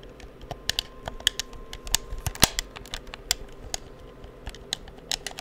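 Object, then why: Plastic game controller. Fingertips tap and click the buttons of a hollow black plastic PS4 controller held near the microphone. Around 19 short, dry, bright clicks come at an uneven pace, with a faint steady tone near 1 kHz underneath for part of the clip.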